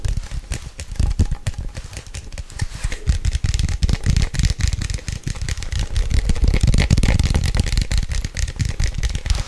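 A medium-size Nescafe instant coffee glass jar with a gold lid, apparently holding coffee, is held in both hands and tapped fast with long nails on the glass and the lid. The result is a rapid, uneven stream of short, dry clicks and ticks with a dull low thump under each tap and a bright crackly edge. The tapping grows denser and louder past the middle of the clip.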